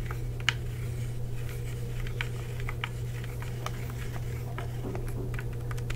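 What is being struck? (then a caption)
Plastic game controller shell and buttons. Fingertips tap the hollow shell of a black plastic Xbox 360 wireless controller and click its buttons, making a quick run of short, dry, bright clicks that stop almost at once. A steady low hum sits underneath the whole time.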